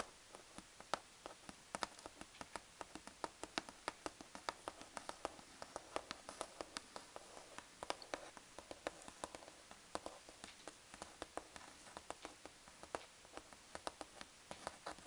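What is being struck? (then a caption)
Corrugated cardboard box with packing peanuts. Long dark-painted nails and fingertips tap on the flap of a large corrugated cardboard box, partly closed with the flap over foam packing peanuts inside. A steady stream of rapid, dry, papery taps and light clicks with a crisp bright edge sits over a faint rustling hiss, each tap dying away almost instantly.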